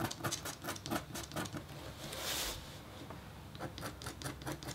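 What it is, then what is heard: Copper scratch art board. A metal-tipped stylus scratches a thin, solid, flat black-coated copper foil scratch board in quick, short strokes, giving a dry, patter-like series of scrapes. Midway, one longer, steadier scrape rises brighter and louder before the short, rhythmic strokes resume.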